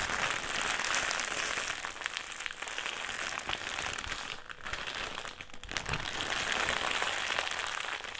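A black, foil-lined metallised plastic crisp packet is crumpled and squeezed in both hands. It makes a dense, continuous crackling crinkle that is bright and hissy, with steady loudness and a few brief dips.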